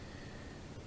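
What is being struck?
Nothing is struck.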